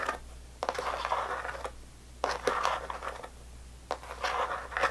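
Long fingernails tap and scratch the side walls of a small rectangular clear plastic tub filled with red sour belt candy, held by both hands with the lid on. Sharp plastic ticks break into stretches of dry, raspy scratching in the midrange over a faint steady low hum.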